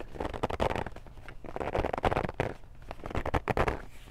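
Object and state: Cardboard game box.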